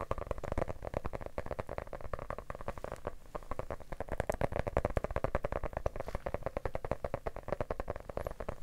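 A medium yellow hardcover book with a solid paper/cardboard cover is held upright in both hands and tapped on the cover with fingertips and short nails. The result is a fast, steady stream of dull, low thuds with soft clicky edges that stop dead with no ring, continuing evenly for the whole clip.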